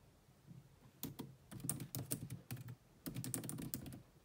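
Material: Plastic.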